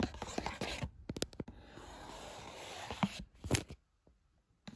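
Fingertips tap and rub the top of a small printed cardboard box of Lungo coffee capsules with a clear window, lying flat on a bed sheet. Quick, dull papery taps give way to a steady, bright scratchy rubbing. A few sharper taps follow before the sound drops to near silence.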